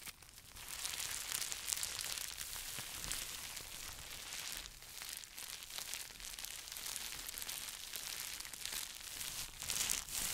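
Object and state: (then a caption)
Plastic bubble wrap pouch, crinkled. A small, hollow, empty pink plastic bubble wrap pouch is pressed, crinkled and scratched with fingertips and short nails close to the microphone. The result is a continuous bright, crackling crinkle with rapid scratchy textures and almost no low end.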